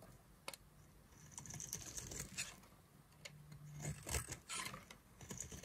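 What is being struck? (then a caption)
Bar of soap scraped with a knife. A solid yellow-and-white striped bar of dry soap is held in the hand and carved and scraped with a knife, breaking off crumbly chunks. Quiet, dry scraping and crackling come in short uneven strokes, with sharp bright clicks and rasps over a faint low hum.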